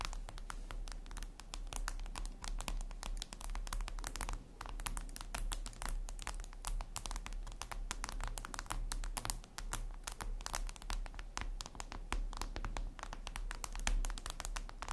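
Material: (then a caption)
Glass. Long red acrylic nails tap rapidly and steadily on a flat, solid, reflective glass mirror tabletop surface. The result is a dense stream of sharp, bright clicks that blur together like fast typing, over a constant low hum.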